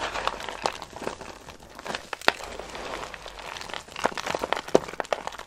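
Pale green dry soap flakes are crumbled and crushed between fingertips and long nails over a pile of shavings in a box. A steady dry crinkling rustle is broken by many quick, sharp crunches and crackles with bright, papery highs and almost no low end. Each snap dies away at once, with no ring.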